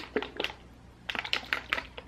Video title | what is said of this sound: Updated skincare routine & new Deciem products | when you shake it, you can hear the little balls. There's little balls in there.